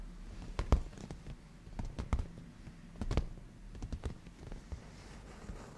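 Natural nails painted black, on both hands, tap across the padded black grained leather surface of a black leather cushion, making soft, low, muffled thumps with brief bright clicks. The taps come at an irregular pace, some louder than others, and each one fades almost instantly.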